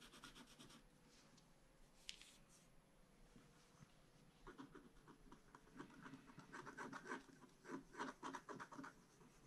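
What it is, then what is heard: Scratch-art paper being scratched. A bamboo stylus scratches a flat scratch-art card page, with a brief close-up still midway. Soft, papery rasping starts quietly with a faint sharp tick near the two-second mark. The scratching then turns into quicker, louder, irregular strokes with a bright, gritty edge through the second half.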